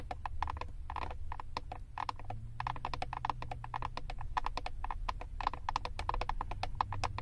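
Long acrylic nails tap rapidly on the back of a flat plastic eyeshadow compact with a paper label. A steady stream of short, dry clicks carries a hollow plastic ring around 1 kHz. Each tap dies away almost at once over a low background rumble.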